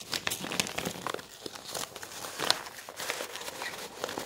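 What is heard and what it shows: A hand lifts and bends a glossy paper brochure, crinkling its shiny pages against each other. The result is a steady run of crisp, bright crackles and crunches with short, sharp peaks and almost no low end.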